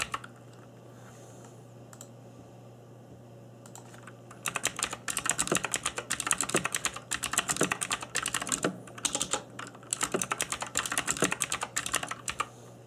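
Fingertips in black nitrile gloves type on a cheap RGB-backlit mechanical keyboard with plastic keycaps. After about four seconds of quiet with a faint low hum, rapid bright, sharp clacks of key taps stream through to the end, easing briefly around the ten-second mark.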